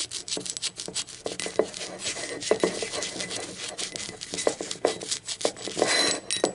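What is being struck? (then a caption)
Ceramic mug. Long acrylic nails tap and rub the printed base and rim of a blue speckled ceramic mug lying on its side. The result is a quick, irregular run of sharp, bright clicks with short ceramic ring, mixed with soft scratchy rubbing and almost no low end.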